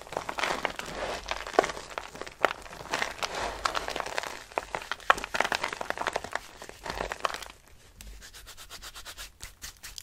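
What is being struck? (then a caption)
Soap shavings. Dry pale green soap shavings are rubbed and crumbled between fingers with long pink nails. The result is a dense, dry crackling and crinkling rustle, bright in the midrange, with sharp little snaps throughout. In the last couple of seconds it settles into a quieter, softer, rhythmic rustle.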